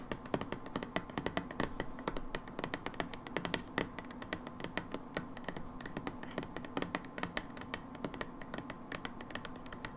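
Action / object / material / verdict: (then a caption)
tap / plastic bottle / plastic / none. Long nails tap rapidly on the back label and plastic of an overturned brown plastic hydrogen peroxide bottle. The result is a steady stream of dry, bright clicks that stop almost instantly, over a faint, even background hum.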